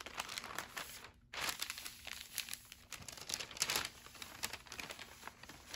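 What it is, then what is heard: Kraft paper bag being handled. A thin, flat brown kraft paper bag lying on a wooden table is smoothed flat with fingertips and palms, then folded and creased. Bright, dry crinkling and rubbing paper sounds come in quick bursts, with a brief near-silent pause around one second in.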